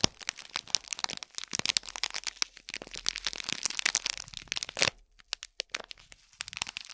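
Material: Metallic foil.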